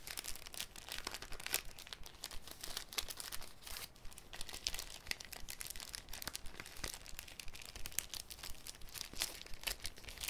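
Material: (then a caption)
Cellophane. A thin, clear cellophane sheet is folded and crinkled between fingers. The result is a continuous, dense crackle of bright, sharp snaps that stop dead with no ring, over a soft low rumble.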